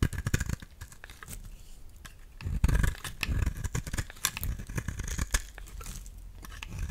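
A solid lilac soap bar, held in hand, is cut with a utility knife blade into thin curled shavings. Dense, crackly scraping and crisp snaps repeat, with bright clicks over a deep, low-heavy rumble.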